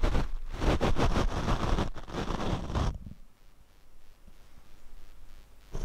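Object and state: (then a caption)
Foam microphone windscreen being brushed. A paint brush is swept across the black foam windscreen on a Rode microphone, producing loud, dense, rustling scrapes with a heavy low rumble for about three seconds. The sound then drops to faint, soft brushing before a brief louder swipe at the very end.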